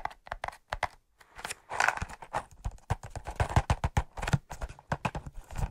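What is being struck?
Large cardboard matchbox.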